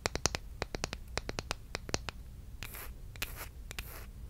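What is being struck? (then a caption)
Bamboo wooden spatula. Long red nails tap and scratch a solid, flat bamboo wooden spatula or spoon with a wide bowl, held close to the microphone. A quick run of sharp, dry clicks with almost no ring comes first, followed by several brighter, hissy scratching strokes across the wood.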